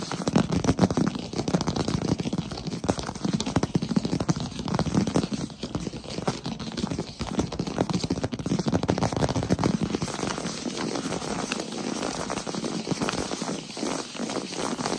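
Fingertips and short nails of both hands tap and scratch fast across a large solid wood-plank floor. A dense, steady stream of quick, dry knocks with a warm low-mid body runs the whole clip, mixed with light crackly scraping. Each tap dies almost instantly with no ring.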